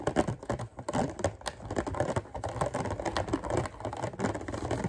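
A hand-sized, hollow clear thin-plastic clamshell container holding green grapes is tapped and scratched on its lid by fingertips and short nails. Rapid, dense clicks and light scratches run throughout with a midrange, hollow plastic tone and very quick decay.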